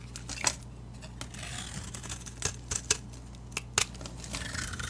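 A solid rectangular orange soap bar, with a painted orange leaf-decorated surface and a yellow interior, is held by a hand with long dark nails and shaved with a metal utility knife blade. Sharp, bright scraping clicks and short crisp cuts stand out over a steady low hum, with a soft hiss between strokes.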